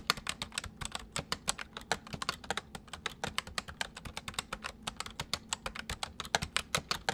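Fingertips of both hands type rapidly on a white full-size plastic mechanical computer keyboard. Around 46 sharp, bright clicks follow one another in a quick, uneven stream, each dying away almost instantly, over about seven seconds.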